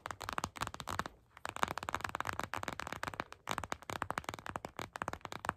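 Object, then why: Plastic gel bead eye mask. Long pink and patterned acrylic nails tap and scratch a glittery purple gel bead eye mask in clear plastic lying flat. The result is a rapid, crisp stream of short plastic clicks and scratchy crackles with a mid-pitched tone around 1 kHz. The stream pauses briefly twice, just after one second and around three and a half seconds.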